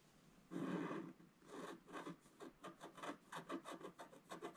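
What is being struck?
Scratch-art paper sheet scratched with a wooden stylus.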